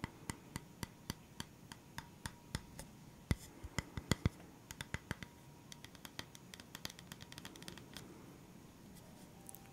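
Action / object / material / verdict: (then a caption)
tap / flat round bamboo board / bamboo / none. Fingernails scratch and tap a flat round bamboo board, a wooden round stand held at its edge. A steady run of sharp, dry taps, some louder than others, rises over a soft scratchy rustle; each tap is short and clicky with a bright edge and a low, woody body that stops almost at once.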